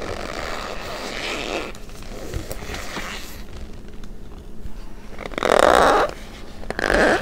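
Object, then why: Packed cornstarch powder in a bowl. Hands squeeze and crush clumps of packed white cornstarch in a plastic bowl, pressing in with fingertips and long nails so the solid, compressible powder gives off squeaky crunches. A steady, soft grinding crunch runs through the first half, then two louder, sharper squeaks burst out near the end as the hand moves to pinkish powder at the edge of the same bowl.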